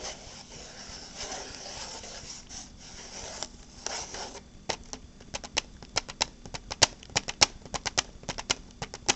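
Long black-painted fingernails work a small transparent hard plastic case with a red insert, held close. About four seconds of soft, hissy scratching give way to around twenty sharp, bright clicking taps at an uneven pace, each dying out almost instantly.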